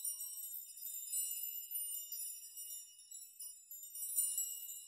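Palms and fingertips push and brush rows of hanging thin metal nails on a metal nail chime in a rocking, shaking motion, making them clink together. The result is a soft, continuous shimmer of bright, high tinkling with no low end. The level swells and dips as the nails are stirred.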